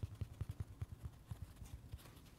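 Fingertips and short nails tap and scratch the red face of a dry, palm-sized, solid kids' watermelon-slice sponge made of soft open-cell foam, resting on a carpet. A quick series of soft, low, muffled thuds is heard, each dying out almost at once, with faint brighter scratchy rustles between them.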